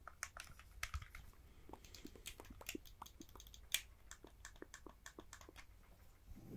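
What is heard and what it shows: A Nintendo Switch Joy-Con grip, a hollow hard-plastic controller with blue and red Joy-Cons attached, is held in both hands while fingertips tap and click its buttons and plastic surface. The result is a quiet, irregular series of short, dry, bright plastic clicks and taps that die away almost instantly, over a low, soft background rumble.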